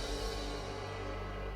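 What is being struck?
Nothing is struck.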